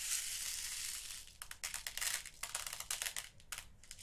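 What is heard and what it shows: Fingertips rake and stir through loose small purple, blue and clear glass seed beads in an open, small clear plastic storage box. A steady bright, hissy rattle of grains comes first, then a quick run of separate crunchy bursts of clattering beads, all high and thin with almost no low end.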